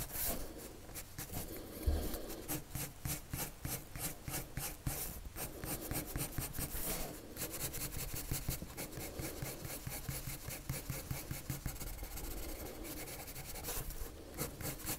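A wood-cased colored pencil held in the fingers scratches and rubs its tip across a thin white paper sheet lying flat on a table in short, repeated drawing strokes. The result is a quiet, steady run of dry, raspy scratching with bright, hissy edges over a soft low rumble, each stroke dying away almost at once.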